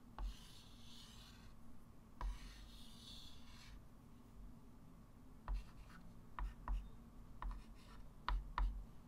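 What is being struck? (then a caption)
Chalk stick on a wood-framed chalkboard. A white chalk stick writes fractions and draws loops on a small, solid, flat wood-framed chalkboard. Two long, bright scratching and rubbing strokes come early, followed by nine sharp chalk taps spaced irregularly against a low, steady background hum.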